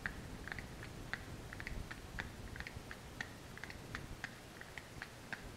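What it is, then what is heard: Kraft cardboard box. Long nails rapidly tap a small brown kraft cardboard box with a printed label, held close. A quick, uneven series of light, dry clicks with a hollow ring around 1.6 kHz and brief bright ticks fades almost instantly over a low, steady background hiss.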